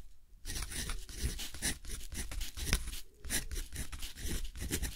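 A metal dip-pen nib scratches across a flat, thick, rough textured cotton paper sheet in steady writing strokes while the left hand holds the sheet. After a brief quiet start, a continuous run of dry, bright scratching bursts follows the pen's strokes over a low rumble.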